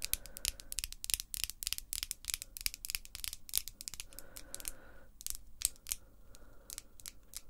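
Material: Acrylic.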